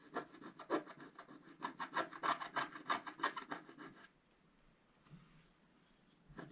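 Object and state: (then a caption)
Scratch-art paper being scratched. A wooden scratch stick scrapes the black coating of a flat, roughly A4 scratch-art sheet lying on a table and held down by one hand, revealing a coloured Christmas stocking design. About seventeen quick, dry, bright scratching strokes come in a steady rhythm for the first four seconds. Then it goes nearly silent, with one faint scrape around five seconds and a last short scratch at the end.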